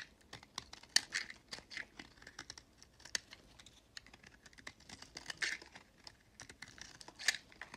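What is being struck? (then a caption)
Soap bar scraped with a blade. A box-cutter blade scrapes and shaves thin flakes off a solid peach recycled soap bar held in the hand. The result is a quiet run of dry, crisp scratching ticks, bright and high with almost no low end and no ring, with a few sharper strokes standing out.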